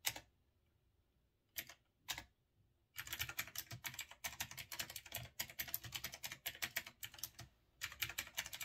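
Fingertips type on a retro typewriter-style mechanical keyboard with round chrome-rimmed keycaps. After a few isolated keystrokes with quiet gaps, a steady run of bright, crisp clacks begins at about three seconds. The clacking pauses briefly near the end, then resumes.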